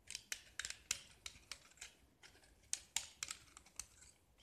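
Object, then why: Small painted gypsum block. A metal utility knife blade scrapes and carves a small solid gypsum brick with a black painted, diamond-patterned face. Thirteen short, crisp scraping strokes are heard, each a bright, gritty burst with almost no low end that cuts off quickly between quiet gaps.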